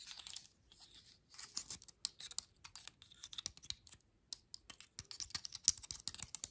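Long nails scratch across the scales on the base and side of a dry pine cone, making bright, dry, crackling scrapes and quick clicks. The sound comes in irregular bursts separated by short pauses, with almost no low end and no ring after each scrape.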